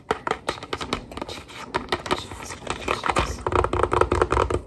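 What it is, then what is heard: Cardboard pasta box tapped with nails. A Kraft mac & cheese cardboard box holding dry pasta stands upright on the counter and is tapped fast with fingertips and long nails. The result is a rapid, uneven run of short, dry taps and clicks: a hollow low thump under each one and a bright click from the nails, dying away almost at once. The tapping gets denser and louder toward the end.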